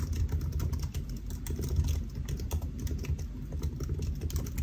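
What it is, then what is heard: Laptop keyboard being typed on. Fingertips of both hands type steadily on the black plastic keys of a solid silver aluminium laptop resting on a white desk. The rapid, soft key taps stop short with almost no ring, over a continuous deep low rumble, and the sound stays mostly low and dull with very little brightness.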